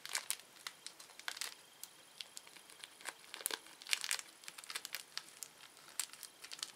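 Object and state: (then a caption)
Plastic candy wrapper being crinkled. A small, thin, empty red-orange printed plastic candy wrapper is pulled, twisted and crinkled between the fingertips of both hands. Quiet, bright crinkles and sharp crackles snap in quick irregular bursts, with no low end and almost no ring after each one.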